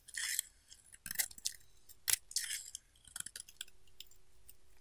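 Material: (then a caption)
Soap. A solid pink bar of soap, already partly carved and held in the palm, is scraped with a utility knife blade in short strokes. The clip is full of crisp, bright scraping and shaving bursts that stop abruptly, with a faint steady tone running underneath.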